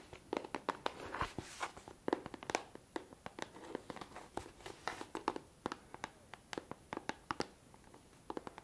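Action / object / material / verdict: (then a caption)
tap / plastic bottle of micellar water / plastic / none. A hand-sized L'Oréal micellar water bottle, clear plastic with a pink plastic cap, hollow and partly filled with liquid, is held close to the microphone while fingertips and nails scratch and tap its plastic surface and label. Quick, crisp, dry taps come in an irregular string over soft scratchy rubbing, each click stopping almost instantly with no ring. The sound is quiet, close and bright.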